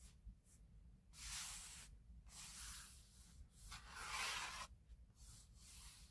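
Fingertips with medium-length nails rub and tap across the lid of a flat, rectangular, book-sized kraft cardboard box for a 3D wooden puzzle kit, probably closed and full, lying on a grey surface. Soft, bright, hissy scratching strokes come in uneven bursts, with two longer, louder rubs swelling up between quieter short scrapes and light taps.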